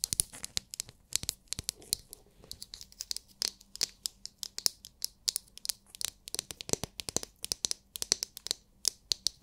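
Long nails scratch and tap a palm-sized oval massage brush with a hard, clear plastic dome filled with glitter. The result is a dense run of sharp, dry clicks and scratchy rasps, very bright and high with almost no low end and no ring after each hit.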